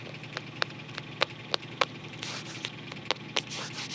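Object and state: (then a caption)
Cardboard photo album. Fingertips rub and scratch along the paper-covered cardboard spine of a closed photo album as it is turned to show its spine and then its back cover. Sharp, bright scratchy ticks sound at an irregular pace over a soft papery hiss, with short louder stretches of broadband rubbing near the middle and end.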